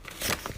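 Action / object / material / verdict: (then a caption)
scrape / half-sized xuan rice paper / paper / brittle. A sheet of half-sized xuan rice paper is torn, giving a crisp, bright tearing crackle in three quick bursts. The torn edge shows almost no cotton fibres, marking it as brittle, lower-quality half-sized paper.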